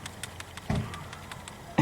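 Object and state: Good PCV valve, ball rattles freely.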